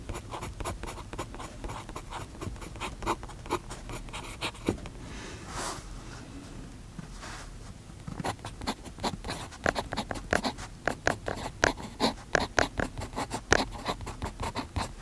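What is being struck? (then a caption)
Metal pen nib on paper notebook page. A metal fountain pen nib writes continuously on the page of an open paper notebook resting on a desk, making a series of short, dry scratching strokes. Around the middle the strokes pause and give way to a couple of softer, airy sweeps across the paper. Then the quick, crisp scratching resumes with sharper peaks toward the end.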